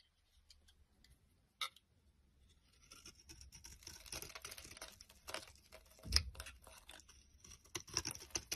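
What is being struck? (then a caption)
Bar of soap shaved with a small blade. A small flat blade shaves and scrapes the surface of a solid rectangular yellow Smyrna soap bar held in the palm, cutting it into crumbly flakes. Quiet, bright, dry crackling scrapes come in irregular bursts, with a sharp tick near the start and a louder crunchy scrape around the middle.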